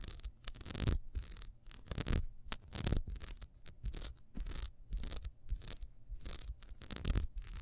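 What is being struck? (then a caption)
Ribbed wax candle. Long nails scratch and rub fast over the ridged surface of a small solid ribbed wax beehive candle. The result is a run of dry, bright scratching bursts, each a short rasp over a soft low rumble, with brief pauses between strokes.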